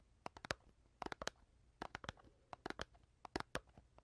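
Long dark-painted nails tap and scratch a small, rectangular, printed cardboard box of Pink Cadillacs candy, hollow and apparently filled with candy, held in one hand and turned during the stretch. Quick clusters of short, dry, bright clicks and light scratches come in quiet bursts, each dying away almost at once.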